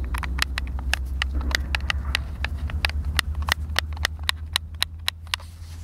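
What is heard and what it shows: A white, hollow, hand-sized plastic Xbox controller is held in both hands while fingertips and thumbs press and click its buttons. Its sharp, bright clicks come in a quick, irregular series, each dying away at once. A steady low hum sits underneath throughout.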